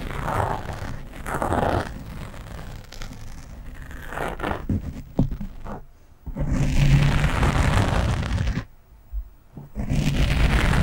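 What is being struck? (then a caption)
Foam microphone windscreen. Long nails of both hands scratch a black foam windscreen on a microphone, producing dense, rough rumbling scrapes that are heavy in the lows with a muffled, scratchy texture. The scratching comes in loud stretches separated by brief quieter pauses around six and nine seconds.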